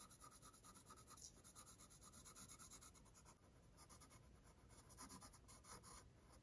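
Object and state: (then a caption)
Paper sheet under pencil strokes. A blue mechanical pencil tip scratches continuous sketch strokes across a thin, stained, aged paper sheet resting flat and solid-backed on a wooden easel. The sound is a steady, dry, bright scratching that rises and falls with each stroke, with short pauses between passes.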